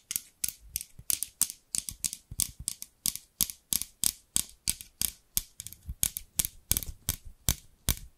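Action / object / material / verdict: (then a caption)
tap / scissors with plastic handles and steel blades / plastic / none. Long pink nails tap and scratch the translucent amber plastic handles of a large pair of scissors with long steel blades, held upright beside a microphone. About 35 quick, dry, bright clicks follow in a steady rhythm, each dying away almost instantly, with a faint low thump under some of them.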